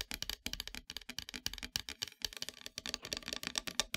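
Long metallic nails tap rapidly near the top of a flat, solid, dark painted wooden heart-shaped plaque. The result is a quiet, steady run of crisp, dry, bright clicks that stop instantly, with almost no low end, much like fast typing on a keyboard.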